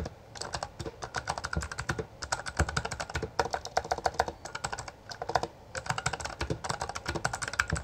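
A full-size black plastic Bloody B820R mechanical gaming keyboard with backlit keycaps and a hollow housing is typed on continuously with the fingertips of both hands, pressing and striking the keys. Rapid, dry, clacky keystrokes run in dense bursts with a few brief lulls, each click short with almost no ring and a bright, hollow plastic tone centered around 1.6 kHz.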